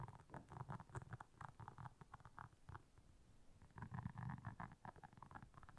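Long nails scratch across the soft bristles of a solid, round, flat blue silicone scrubber pad lying on black fur. The result is a quiet, rapid run of dull, low scratchy rubbing bursts with a faint papery rasp above, coming in uneven flurries.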